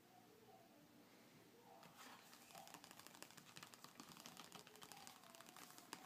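Fingertips and short nails rub, trace and scratch across the glossy paper cover of a closed car magazine lying flat on a dark table, its pages backing the cover. A quiet, soft brushing gives way after about two seconds to louder, crisp scratching with many quick, dry clicks and rasps.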